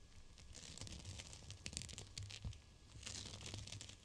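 Fingers squeeze and crinkle a GLOWY gel bead cold/hot pack in clear plastic. The result is a continuous crackling, crinkling rustle with bright, tearing-like bursts over soft low thuds, swelling and easing throughout.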